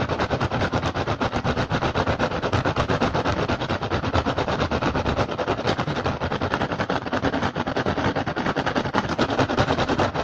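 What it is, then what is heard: Rattan basket. Fast, aggressive tapping and scratching on a woven rattan basket, with no talking. Dense, continuous clicks and rasps run steadily for about ten seconds at an even loudness. The strokes come too quickly to separate one from another.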